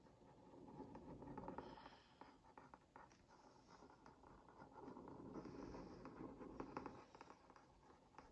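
The tip of a wooden skewer is traced over a printed cookie on a hollow Oreo Mini cardboard box held in one hand, making a scratch. Quiet, dry scratching strokes swell in two denser passes with small bright ticks. The papery rasp stays low and muffled, fading between passes.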